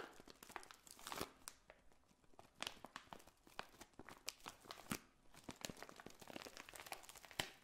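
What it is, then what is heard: Plastic bag of dried potpourri. A clear cellophane bag of dried pink and red potpourri petals is held up, then scratched and squeezed with long painted nails. The result is quiet, bright crinkling and crackling in quick, sharp bursts that fade almost instantly, with short pauses between flurries.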